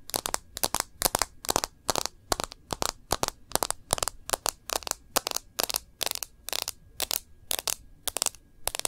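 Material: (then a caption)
Glass, plastic. Long nails tap quickly on the glass screen and rim of a smartphone in a rose-gold bumper case held in both hands. The taps come in short bursts about every half second, each a sharp, bright, dry click with almost no ring and little low end.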